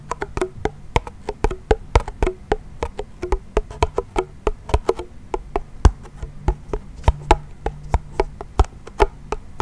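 A small wooden toy pellet drum, a hollow drum with a wooden frame and a white head, is twisted and shaken so its beads knock against the heads. About 41 short, dry, clicky knocks follow in a quick, uneven rhythm, each dying away almost at once. A faint low hum sits underneath.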